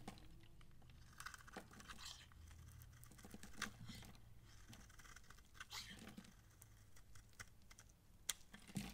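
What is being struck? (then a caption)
Bar of soap scraped with a blade. A utility knife blade scrapes the bumps off a dry, palm-sized, solid light green massage soap bar held in the hand and shaves off long curls. Quiet, dry scraping and crackling is broken by sharp, bright ticks and crunchy snaps, over a steady low rumble in the background.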